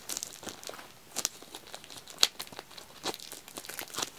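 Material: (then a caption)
Plastic film. Fingertips scratch and tap the black label and plastic shrink-wrap on a full pack of white wax tealights. The result is a string of quiet, bright crinkling scratches and short, sharp taps with almost no low end. Each sound dies out almost instantly.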